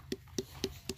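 A watermelon is knocked by hand four times before being cut, each knock a short, hollow thump with a low tone around 380 Hz and a quick decay. Once opened, the melon turns out good and sweet, though only just turning red inside.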